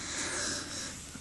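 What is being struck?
Nothing is struck.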